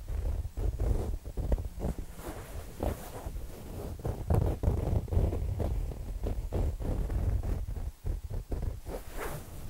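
A soft, stuffed, square printed fabric throw pillow is held up and scratched with fingertips and nails along its surface and edge. The result is an irregular run of quick, rustling scratches with a heavy low rumble underneath and occasional brighter, hissy bursts.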